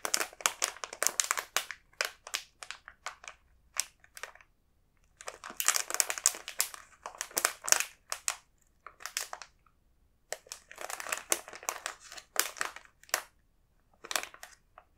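A large, sealed, full plastic bag of individually packed almond fish snacks, printed clear and blue, is held and squeezed by the fingertips. It gives bright, sharp crinkling and crushing in bursts of rapid crackles, with short silent pauses between them and almost no low end.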